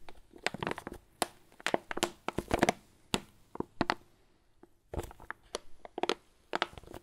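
Fingers squeeze and crinkle a red and black foil-laminate Lavazza coffee bag, padded and filled with beans. Irregular bursts of sharp, dry crackling and crunching come in quick clusters with short quiet gaps between them. Each crinkle stops almost at once, with bright high crackle over a softer low rustle.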